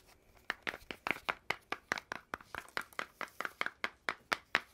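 Fingers and nails grip, tap and scratch along a long hollow red cardboard tube with metal end caps and a gold metal band at the cap seam. About 21 quick, dry taps sound in a steady run, each a sharp, papery knock with a bright midrange tone and almost no ring, over a faint scratchy hiss.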